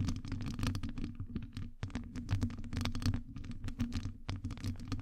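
Long acrylic nails rapidly scratch and tap on a hollow metal wire-mesh microphone grille. The result is a dense stream of quick, crisp ticks and scrapes with bright edges over a deep, rumbling low hum around 90 Hz. The sound keeps on steadily with only a brief pause near the middle.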